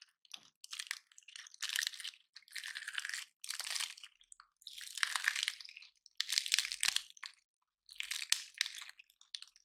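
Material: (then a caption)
Wood. Both hands grip a palm-sized, dry, gold-painted pine cone while fingertips and nails bend and snap its stiff woody scales. Bright, dry crunching and crackling comes in short bursts separated by brief pauses, with almost no low end and no ring after each snap.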